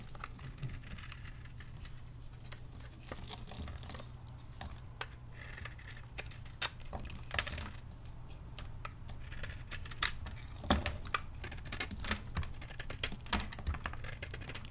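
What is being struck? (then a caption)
Bar soap scraped with a metal blade. A metal blade scrapes and slices thin flakes off a solid, palm-sized pink bar of dry soap that is partly cut and held in the hand. Quick, dry, crisp scraping and crackling ticks sound in irregular bursts, with a few sharper bright snaps, over a steady low hum.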